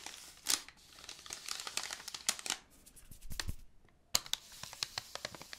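Long painted nails squeeze, rub and scratch the printed white paper wrapper of a long, narrow cylindrical roll about 25 cm long, held upright in one hand. Bright, dry crinkling and tearing-like rustles come in quick bursts, with a short quiet gap before a sharp crackle and a run of smaller scratchy ticks.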